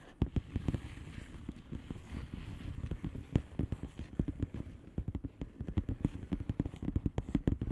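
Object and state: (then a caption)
Plastic bubble wrap envelope. Long nails tap a flat blue plastic bubble wrap envelope with both hands, making a rapid, uneven stream of short, sharp clicks. The taps are dull and low-heavy with almost no ring, and they grow denser and crisper toward the end.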